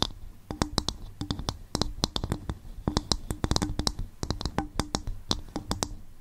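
Fingertips tap and scratch on a bowl made from coconut shell, producing a rapid, uneven series of short, dry clicks with a hollow low thump and a bright top. Faint scratching fills the gaps between taps, and each hit dies away almost instantly.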